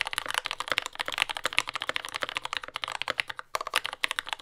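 A compact J-01 mechanical keyboard with lubed Yellow Gateron Ink switches, dark brown plastic keycaps and a carbon fiber plate sits on a desk mat and is typed on continuously with the fingertips of both hands. It gives a fast, steady stream of short, bright, clacky keystrokes with almost no low end or ring, and a brief pause near the end.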